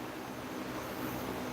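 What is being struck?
Nothing is struck.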